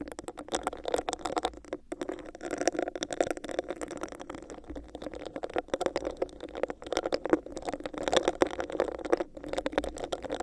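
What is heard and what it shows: Long acrylic nails tap and scratch a hollow, clear, bumpy textured plastic cup placed over a microphone. The result is a steady stream of rapid, crisp clicks and scraping rasps with a hollow, boxy mid-range resonance. Each tap dies away almost instantly.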